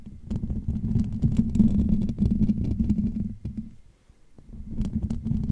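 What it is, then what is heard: Metal mesh microphone grille. Fingertips of both hands scratch and tap the hollow metal wire-mesh dome grille of a Blue Yeti USB microphone. The result is a dense, boomy low rumble with a steady hum-like tone around 220 Hz and faint bright ticks. It dips almost to silence near the fourth second, then the scratching picks back up.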